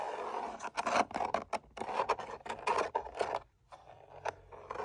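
Fingertips and nails tap and scratch along the face of a long, narrow, hollow red-brown tooled leather sword sheath with gold line decoration, hanging on a wall. A rapid series of dry, crisp taps and scratchy scrapes sounds, centered in the midrange with short, hollow knocks. A brief pause follows, then a few softer taps.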